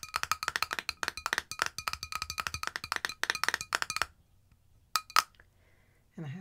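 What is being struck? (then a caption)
Small cosmetic jar with metal screw lid. Long nails tap rapidly and repeatedly on the silver metal screw lid and side of a small cosmetic jar, likely holding cream, held close to the mic. A quick run of bright, clicky taps with a faint ringing tone lasts about four seconds, followed by a pause, two louder taps near the five-second mark, and a short low sound at the end.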